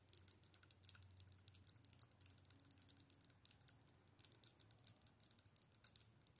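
Long nails tap and scratch the hollow clear plastic orb of a handheld light-up wand filled with LEDs, which has a dark plastic handle. Quick, dry, bright clicks and scratchy ticks patter irregularly throughout at a soft level, with a faint low hum underneath. The taps stop briefly near the middle before resuming.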